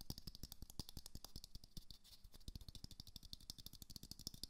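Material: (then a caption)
Plastic. A small glowing moon lamp, a hollow plastic sphere, is held in one hand and tapped quickly with the fingertips and nails of the other hand. The result is a dense, fast run of short, dry taps, each with a hollow low thump and a bright clicky edge, dying away almost instantly. A brief lull comes near the middle before the rapid tapping resumes.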